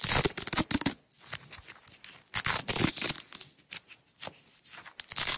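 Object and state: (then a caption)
Nylon hook-and-loop tape being peeled. Long nails peel a strip of blue nylon hook-and-loop (velcro) tape away from its roll. Bright, crackling rips come in two loud bursts with quieter, scattered crackles between them, and a final burst rises at the end.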